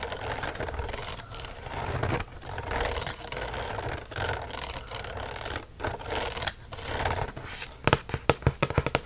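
Fingernails scratch along the hollow loops of a gold-colored metal wire coil binding on a notebook, making a steady, bright, rasping scrape with brief pauses. Near the end, the nails flick across the coils in a quick run of sharp, distinct metallic clicks.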